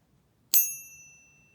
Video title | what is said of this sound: Ping Test Silver Bars - The Shiny Pingy Fake | has that nice silver pop